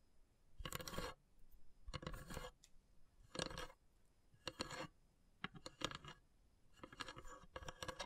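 Long grey nails tap and scratch the carved, perforated lid of a long, narrow, hollow wooden incense box. Quiet bursts of dry clicking and scraping come in separate clusters, with short, bright, rattly taps that stop almost at once, leaving silence between them.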